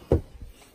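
A plastic replacement headlight assembly for a 2005 Chrysler 300C is shaken as a check, giving two short, dull low thumps with no rattle between them. The headlight is judged good and not broken.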